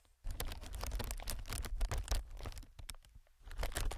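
Fingertips of one hand, then both hands, tap and scratch on a clear, inflated plastic-film air packing pillow. After a brief quiet start, a dense run of crinkly taps and scratches comes with a deep, thumpy low body. It eases off for a moment near the three-second mark before picking up again.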